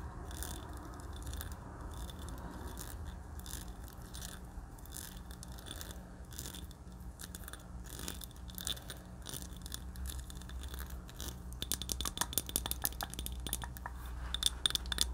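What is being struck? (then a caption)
Small glass jar filled with candle wax. A small clear glass jar candle filled with solid purple wax is held in both hands and tapped and scratched with long dark painted nails. Soft scratching gives way to a quick run of bright, sharp glass clicks over a steady low hum. The clicks grow louder toward the end.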